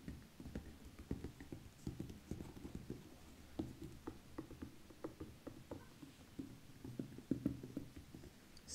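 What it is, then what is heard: Patent leather ankle boot. Long painted fingernails of both hands tap and scratch the shiny upper of a single black glossy patent leather lace-up ankle boot, near its metal lacing hooks and zipper; the boot has a chunky rubber heel and sole and stands hollow and empty on a dark wooden table. Quiet, dull, low taps come in a steady irregular patter with soft scratchy strokes between them, each tap dying away almost instantly.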